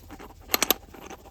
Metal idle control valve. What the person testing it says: you can hear it kind of opening and closing like that